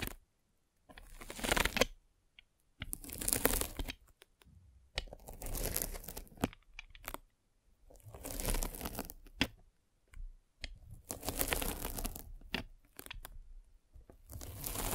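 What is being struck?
Polyethylene foam net sleeve.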